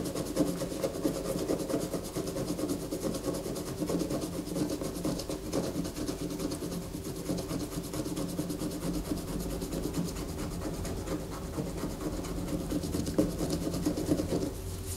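A solid white bar of soap lying on a paper poster is held steady by one hand while long fingernails of the other hand scratch across its top. The result is a continuous, dense scratching and rasping at a steady, moderate level, with a low-mid tonal body around 300 Hz and a faint bright edge.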